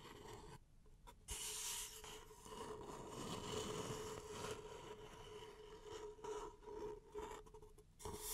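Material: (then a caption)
Paper. Long nails scratch and rub the side of an empty, hollow beige paper cup held in both hands. The result is a dry, raspy scraping that swells and fades in uneven strokes, with a faint steady mid-pitched tone underneath and bright, hissy edges on the louder passes.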